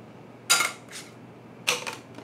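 An old plastic M2 credit card is dropped or tapped, giving two main bursts of bright, light clicks with short rattling tails and almost no low end. It has a thin plastic sound, unlike a metal plate card.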